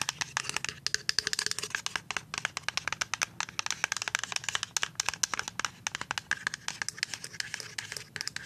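A full white plastic liquid soap pump bottle is tapped and scratched with paper-clip nails and fingertips. Dozens of quick, sharp, bright clicks rattle out in an uneven stream, with a soft crinkly scratching between them. Each tap dies almost instantly, leaving no ring and almost no low end.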